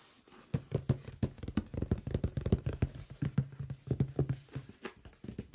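Fingertips and nails of both hands tap and rub the top and front edge of a large closed cardboard microphone box. A rapid, uneven run of dull, low, dry taps with soft rubbing between them; each tap dies away almost instantly.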